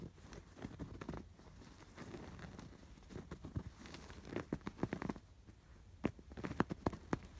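Fingers scratch and rub over the raised blue and yellow yarn embroidery on a cream woven canvas pillow. Quiet, soft, low scratchy rustling builds into quick, crisp scratch bursts in irregular runs, with the sharpest, loudest strokes coming near the end.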